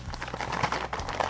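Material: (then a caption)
Crispbread. A packaged Swedish crispbread decorated with a Dala horse is handled and tapped, giving a run of crisp, dry crinkling taps that blur into one another over a steady low hum. The hard, dry bread sounds brittle and papery, with the crackle centred in the mid range.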